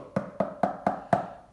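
Five evenly spaced knocks on a box, each a short, hollow-sounding tap with a midrange tone around 700 Hz that dies away almost at once. The box is hollow, with empty space inside, and the knocking is meant to show it.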